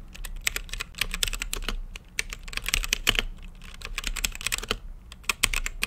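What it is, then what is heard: Mechanical keyboard with plastic keycaps. Fingertips type steadily on a mechanical keyboard with plastic keycaps and a translucent lit case. The keystrokes are short, bright, clacky clicks that come in quick bursts with brief pauses, over a faint low rumble.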